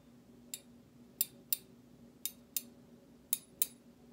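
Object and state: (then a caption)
Stainless steel slotted spoon. A large stainless steel slotted serving spoon with a decorative cut-out pattern is tapped and scraped by another metal utensil's handle against its bowl. Seven sharp, bright metallic clicks sound at uneven intervals, each dying away almost instantly over a faint low hum.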